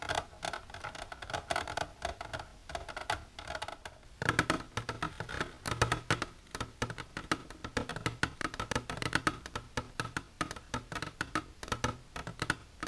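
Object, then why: Plastic container tapped with fingernails. Long natural nails with silver polish tap continuously on a plastic container for ASMR. Rapid, dense, dry clicks with almost no ring carry a hollow tone centered around 1.5 kHz and some high brightness. Around the four-second mark the tapping turns louder and fuller, with more low thump.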